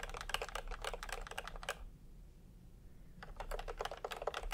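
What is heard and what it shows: Fingertips tap quickly on the round typewriter-style plastic keycaps of a full-size retro keyboard with a peach plastic case, resting on white fabric. Bursts of short, crisp clicks run for nearly two seconds, stop for a quiet gap of over a second, then resume. Each clack is dry and brief with no ring.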